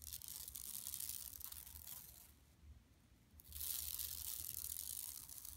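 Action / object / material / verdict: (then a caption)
scrape / woven plastic mesh shopping bag / woven plastic / none. Long nails on both hands scratch across a flat, empty yellow woven plastic mesh tote bag lying on carpet. The result is a dense, bright, crinkly scraping with a soft low rumble. It eases off to a near pause around the middle, then resumes louder and steadier until the end.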